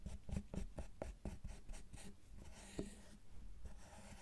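Metal carving tools with wooden handles scrape and scratch the top segments of a solid milk chocolate bar resting on a bamboo mat. A run of short, dry scraping strokes comes in quick succession with a low body, then eases into softer, continuous scratching.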